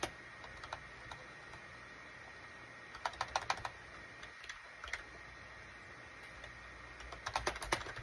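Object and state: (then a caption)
Plastic computer keyboard being typed on. Fingertips type on a full-size gray and cream SHIPADOO K600 wired USB plastic keyboard with a hollow plastic case, resting on a desk mat. Short, quiet clicky keystrokes come in scattered bursts with brief pauses between them, each click dying away almost instantly. A faint steady hum runs underneath throughout.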